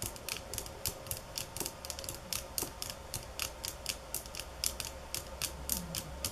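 Long fingernails tap on bamboo sticks at varying speed and force, from soft and slow to fast and hard, producing about 28 short, bright, dry clicks in an uneven rhythm. Each tap dies away almost at once over a faint low hum.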